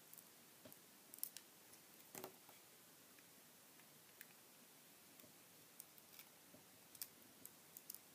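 A metal utility knife blade shaves and slices curls off the edges of a small, solid bar of white soap carved into a cactus shape and painted green with dark dots, held in one hand. Twelve quiet, crisp, bright scraping clicks stand out over a low hiss, each dying away almost instantly. The bar changes shape as pieces come off.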